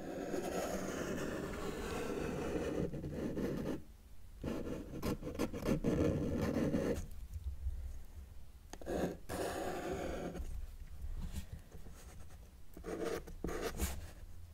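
A felt-tip marker tip is drawn across a flat white sheet of paper on a table while finishing an elephant drawing. The result is quiet, scratchy rubbing strokes, some long and some short, broken by brief pauses over a steady low hum.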